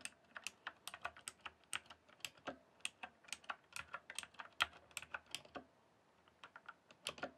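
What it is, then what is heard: Plastic computer keyboard. Fingertips type on a full-size backlit plastic RGB computer keyboard lit white and then green, producing about 30 crisp, bright key clicks with almost no ring or low end. The taps come in an irregular run, pause briefly around the six-second mark, then resume.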